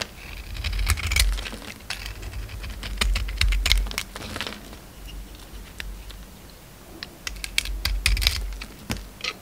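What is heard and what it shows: A utility knife blade scrapes and cuts the purple glitter coating off a solid white oval bar of soap held in the hand. Dry, crisp scraping and crackling come in irregular bursts of sharp ticks over a low rumble, with quieter stretches between them.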